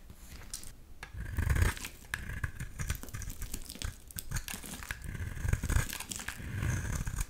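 A small, palm-sized solid blue bar of soap is shaved with a utility knife blade, peeling off thin curls. Repeated crisp, crackly scraping strokes come with soft low thumps, rising and falling in loudness over the clip.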